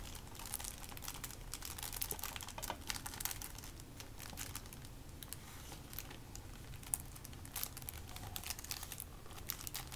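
A small, flat, hollow hard-plastic PS5 game case, still in its clear plastic shrink wrap, is held in both hands and turned over while fingertips tap and scratch the wrapped case. The result is a quiet, steady stream of bright crinkling, scratching and quick dry ticks over a constant low hum, with a few slightly sharper taps standing out.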